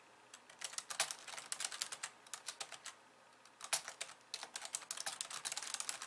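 Long polished nails type with both hands on the plastic keys of a compact pink and white plastic computer keyboard. Bright, crisp clicks come in quick irregular bursts with very short decay, pause briefly just after the three-second mark, then resume in a denser flurry.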